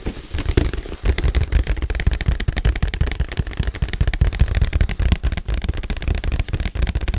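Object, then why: Printed cardboard box. A black printed cardboard Yeti microphone box is held in both hands and turned while fingertips and nails tap and scratch across it. The result is a quick, irregular run of dull, low, hollow thumps with a faint scratchy crackle between them, each tap dying away almost at once.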